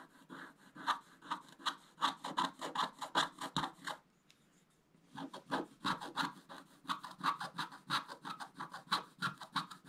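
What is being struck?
Scratch-art paper sheet scraped with a wooden stylus.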